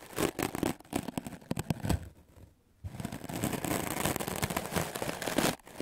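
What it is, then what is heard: Melamine foam sponge brushed. A white, solid, rectangular melamine foam magic eraser block held in hand is scrubbed back and forth with a wooden-backed clothes brush with dark stiff bristles. Quick, raspy bristle strokes repeat in a rapid rhythm, stop for a brief near-silent pause, then resume as a denser, steady scrubbing before a short drop near the end.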